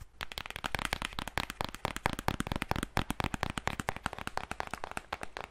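Long nails rapidly tap the front and back of a flat black Huda Beauty eyeshadow palette, a cardboard or plastic case holding a grid of pressed-powder pans. A fast, steady stream of short, dry clicks and taps comes through with a hollow low thud under each one and almost no ring.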